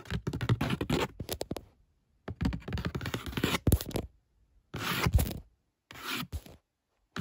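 Long fingernails tap and scratch the top surface of a hollow, brown corrugated cardboard shipping box with a printed barcode. Bursts of dense scratching and quick taps give dry, papery rasps over low, hollow thuds, broken up by short silent pauses.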